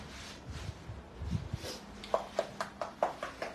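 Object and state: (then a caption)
Unripe durian. An unripe Pa La-u durian is knocked seven times in quick succession. Each knock is a short, dull, hollow-sounding tap with a mid-pitched tone that dies away almost at once. A few low, muffled thumps and steady background noise come before the knocks.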